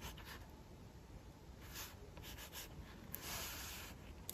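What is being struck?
Pencil on paper sketchbook page.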